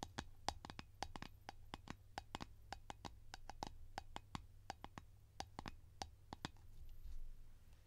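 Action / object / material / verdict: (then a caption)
tap / plastic cream tin lid tapped with fingernails / plastic / none. A round blue plastic Nivea cream container lid, held in the hands, is tapped with long nails in quick, irregular bursts. Each tap is a short, dry click with a hollow tone around 800 Hz and a bright edge, dying away almost instantly. A steady low hum sits underneath.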